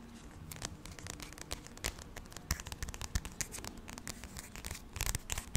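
Fingertips and nails scratch and tap the glossy card cover of the paperback graphic novel "Real Friends," held solidly in one hand. A steady soft scratching runs throughout, broken by many quick, sharp taps and clicks that grow denser and louder toward the end.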